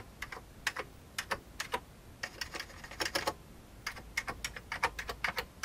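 Fingertips type on the keys of an old, full-size vintage beige plastic computer keyboard. Irregular bursts of short, bright clicks and clacks stop quickly, with brief pauses between groups of keystrokes over a quiet background.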